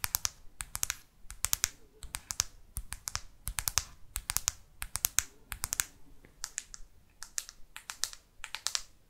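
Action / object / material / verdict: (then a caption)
tap / plastic smartphone back cover / plastic / none. Long artificial nails tap quickly on the matte plastic back cover of a black Microsoft Lumia phone, near the camera. The result is dense, uneven bursts of sharp, bright clicking with almost no ring. Faint low rustling sits between the taps.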